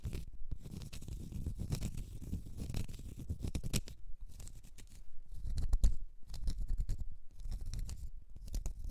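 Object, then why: Small round cork stopper. Long red nails scratch a small, solid, round cork stopper, making dense, dry scratching and crackling in uneven bursts with brief pauses between strokes. The sound is mostly low and rumbly, with faint bright ticks on top.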